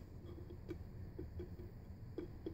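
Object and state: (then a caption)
Hollow-sounding wooden shoeshine box. Several light, quiet taps land on a wooden shoeshine box with small metal hinges, giving soft, dull knocks with a low resonance and very short ring. The box sounds hollow even though it is full of shoeshine supplies.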